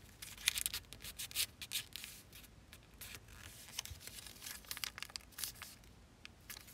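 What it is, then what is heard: Folded origami paper figure. A thin folded zebra-print origami paper figure is lifted and bent between both hands while fingertips and nails rub and crease the layered paper. Quiet, bright crinkling and rustling comes in short, irregular bursts of crackle with almost no low end and no ring after each sound.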